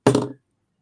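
A new metal twenty-sided die is rolled on a table close to the microphone, landing with three quick knocking thuds that settle within about a third of a second. The die sounds solid, confirmed as good metal dice.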